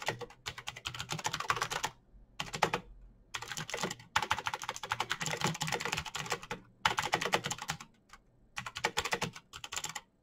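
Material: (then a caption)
Plastic. Fingertips type steadily on a black, backlit plastic mechanical keyboard with clicky switches. Fast, bright clicks arrive in dense bursts separated by short pauses. The keystrokes are sharp and short, with little low-end body.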